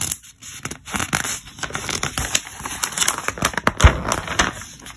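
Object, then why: Thick catalog with glossy paper pages. Fingertips slide across the glossy listing pages of an open, thick paper trade catalog and flip them over. Each pass gives a dry, papery swish with bright crinkly ticks, repeating in quick, uneven strokes. A sharper snap of a turning page stands out near the end.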